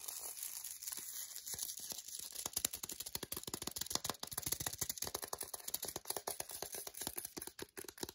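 A flat, solid milk chocolate bar in a green printed paper wrapper over foil is held in hand while long decorated nails rapidly tap and scratch the wrapper surface. Dense, bright, crinkly ticks and papery scratches follow one another quickly, each very short, with almost no low end.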